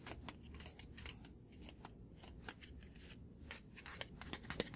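A small white paper card, held in one hand, is rapidly tapped and flicked with the fingertips and short nails. Quick, crisp, bright clicks and papery flicks come in a steady, irregular stream over a soft low hum, each dying away almost instantly.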